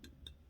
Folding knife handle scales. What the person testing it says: you can hear that sound it sounds hollow